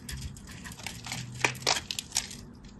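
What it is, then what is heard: Bar soap being cut. A craft knife cuts into a solid orange-and-white striped bar of soap, sending chips falling off. Soft, crisp scratching and crackling runs throughout, punctuated by a few louder, bright snapping clicks as the blade breaks pieces away.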